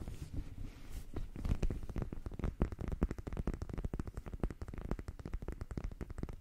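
Long painted nails scratch the sparkly, glitter-patched textured front of a small, soft pink fabric "MEOW" cat eye sleep mask held in both hands close to the mic. The result is a rapid, continuous run of short, dry, rustling scratches, heavy in the low end, that start quiet and build into dense bursts.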